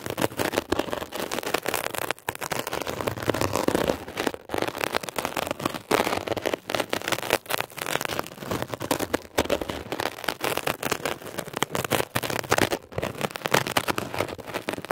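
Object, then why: Mesh-covered foam sponge scratched with a metal pick. A metal ear pick scratches across a blue mesh-covered textured foam scrub sponge. It makes a dense, rapid crackling scrape that centres in the midrange, runs bright in the highs, and pauses briefly a few times throughout.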